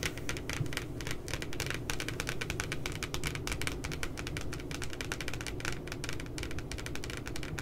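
Long nails tap quickly across the glossy paper cover of a spiral notebook printed with two puppies. A steady run of crisp, bright clicks rides over a soft, low thudding body, keeping an even level for the whole clip.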